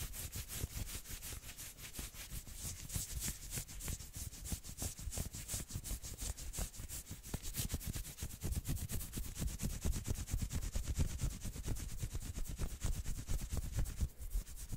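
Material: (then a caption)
Knit fabric. Long nails and fingertips scratch and rub fast up and down the forearm of a worn, dark red and black patterned knit sweater sleeve. Rapid, closely packed scratchy strokes give a steady, bright fabric hiss over a low, muffled rumble, growing slightly louder toward the end.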